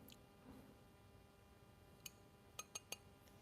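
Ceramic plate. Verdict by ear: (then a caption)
Sound. A 7-inch hand-painted ceramic plate with a bright surface, fired at 800 degrees, is tapped four times, giving short, crisp, high clinks over quiet background noise. The crisp ring is taken as a sign of good quality.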